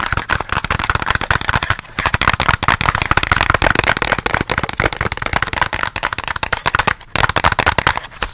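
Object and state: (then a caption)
Cardboard box. A small, hollow white cardboard box with teal edges, like product packaging, is held close and tapped and scratched with fingertips and nails. The result is a dense run of quick, dry crackling taps and scrapes that barely ring, with a few short pauses.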